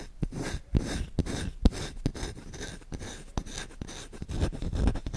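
Short fingertips scratch quickly across the bowl and handle of a solid wooden spoon. The result is a continuous, dry rasping texture with frequent sharp, clicky accents that stop dead without ringing. The sound is weighted toward a dull low thump, with little brightness.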